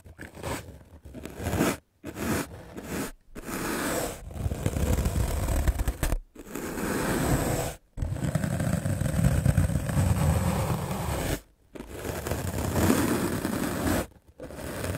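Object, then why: Melamine foam sponge. A white rectangular magic eraser block of solid melamine foam, held in the hand, is scrubbed aggressively with a medium black-bristle paint brush. The result is fast, rough, scratchy brushing with a dull, low-heavy texture. It comes in long bursts separated by brief silent pauses.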